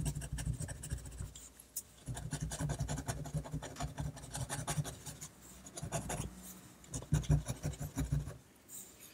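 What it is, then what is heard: Pen nib scratching on paper. A technical pen nib scratches ink lines across a flat sheet of drawing paper steadied by the free hand. Quick, dry scratching strokes come in dense bursts with short pauses between them, carried over a soft, low rubbing undertone.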